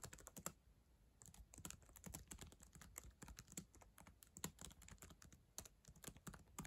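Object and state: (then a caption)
Plastic laptop keyboard. Long acrylic nails and fingertips type on the plastic keys of a black ThinkPad laptop keyboard, a solid device. A steady run of quick, dry clicks and taps carries bright, sharp nail ticks over soft low key thuds. There is a brief lull around the first second, and each hit dies away almost instantly.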